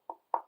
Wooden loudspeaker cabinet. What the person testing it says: each speaker knocks about the same frequency, which is good because that means consistency in the models